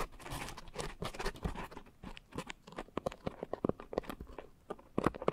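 Long nails scratch the rough surface of a pink coarse foam scrub sponge wrapped around microphones. A dense, crunchy rasp fills the first two seconds, then breaks into quick, separate crackling scrapes with bright edges and almost no ring.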